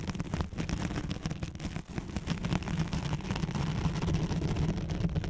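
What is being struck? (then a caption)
Nylon hook-and-loop fastener sheet. Long nails scratch the hooks of a thin white hook-side nylon hook-and-loop sheet laid over a microphone. The result is a dense, continuous rasping crackle with a heavy low-end rumble around 170 Hz, steady in level apart from a brief dip near the two-second mark.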